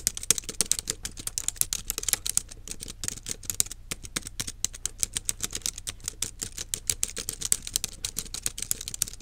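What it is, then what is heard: Plastic keyboard being typed on. Fingertips and long nails type on the plastic keys of a small black plastic wireless keyboard resting on a desk. A steady, rapid stream of short, sharp, bright clicks and taps comes through, each dying away almost instantly, with a few louder key strikes standing out.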